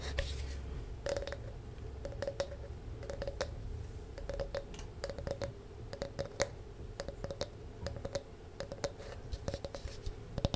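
Long nails scratch and tap a palm-sized, round, solid wooden disc with a ridged, grooved surface, held close to the mic. Quiet, dry scratching runs under many short, sharp clicks with bright edges and almost no ring, over a faint tone near 560 Hz and a low, steady rumble.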